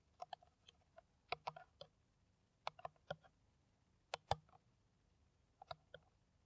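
Long nails tap an empty, clear, ridged plastic PET water bottle held in the hand, producing roughly fifteen quiet, irregular taps in small bursts. Each tap is a short, dry click with a hollow plastic tone around 800 Hz and a bright edge, dying away almost instantly.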